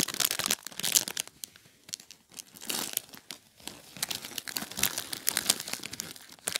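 A small, clear, thin plastic bag filled with popcorn is held and crinkled by fingertips with short painted nails. The bag is squeezed over and over in dense bursts, giving bright, crackling crinkles with almost no low end. Quieter pauses fall between the bursts.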